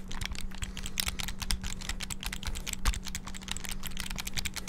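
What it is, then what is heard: Plastic handheld game console buttons. Fingertips rapidly press the buttons of a small black, hollow plastic, flip-open clamshell handheld game console. The result is a fast, dense stream of sharp, bright plastic clicks over a low, steady hum, with no pauses between presses.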